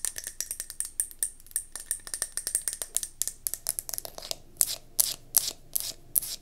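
A round gold mercury glass candle jar, held on its side, is tapped rapidly on its glass base with long nails. About three dozen short, dry clicks with a bright, high glassy tick come in quick, uneven bursts, and the last few taps are spaced wider and sound louder and sharper.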